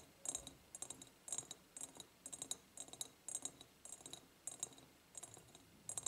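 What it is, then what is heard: Ribbed glass jar. Fingernails tap and scratch on the ribbed sides of an empty, medium-sized, clear ribbed glass jar. Quick, bright clicks and rasps come in short, regular bursts about every half second. Each is a tight cluster of ticks with a high glassy ring that fades almost at once, over a quiet background.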